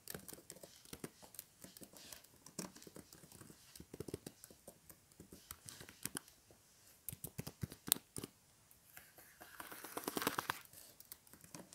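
Fingertips type and tap on the plastic keys of a flat tablet keyboard in a blue case resting on a table, making quiet, dry clicks in irregular bursts. Near the end a hand rests on the keyboard's edge with a soft, broad rustle.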